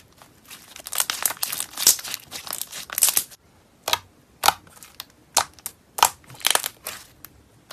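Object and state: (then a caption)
Butter slime being squeezed. Fingertips and a thumb squeeze, fold and press a soft, opaque, palm-sized mass of light blue butter slime resting on a white surface with no container. It gives off bright, crackly, crinkly squishes, dense and continuous for the first few seconds, then breaking into separate short crackling bursts with quiet gaps between them.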